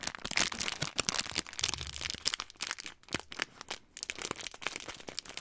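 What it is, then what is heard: Plastic snack packet. A small, flat, clear-plastic snack packet with a printed label and snacks inside is held in both hands in front of the microphone and crinkled and squeezed with the fingertips. It makes a dense run of bright, crisp crackles and crunchy rustles that stop and start in quick bursts, with little low end.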